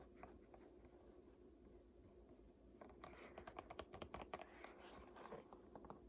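Long nails tap and scratch the glossy printed paper pages of an open "Art History" textbook resting on a lap. A few seconds of quiet, soft scratching give way to a run of sharp, dry taps and scrapes, which then ease into lighter tapping toward the end.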